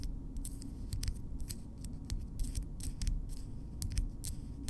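Long natural keratin fingernails on both hands have their tips tapped and clicked against each other up close. Quick, bright clicks come in an uneven stream over a steady low rumble, each dying away almost at once.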